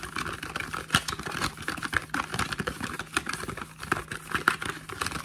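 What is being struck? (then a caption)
Small cardboard product box. Fingertips and short nails tap quickly on the flat faces and edges of a small, hollow, printed cardboard face cream box held in the hands. The result is a dense patter of short, dry clicks with a hollow midrange tone and bright, crisp tips, over a faint low hum.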